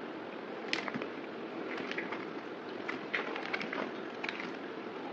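A solid oval white bar of soap, held in the palm, has thin slices scraped and cut off it with a yellow utility knife blade. A steady, dry, broadband scraping hiss reaching high into the treble runs throughout, broken by a series of short, sharp cutting clicks as the blade bites into the soap.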